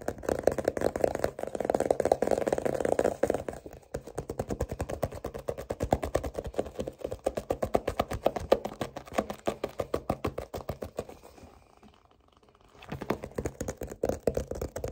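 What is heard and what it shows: Fingertips tap fast on a "Your Name" paperback novel, a solid paper block with a glossy card cover, striking both the cover and the page edges. The result is a rapid stream of dull, short papery taps centered in the mid range around 530 Hz. The taps ease into a near-silent pause around the twelfth second before resuming.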